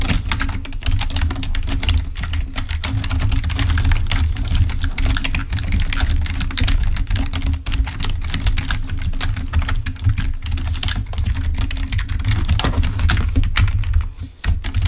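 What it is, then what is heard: Plastic computer keyboard. Fingertips type quickly on a full-size black plastic membrane computer keyboard, then one hand presses individual keys. Dense, soft plastic clicks and taps ring briefly over a steady low hum. The tapping holds a fairly even level until it drops away briefly near the end.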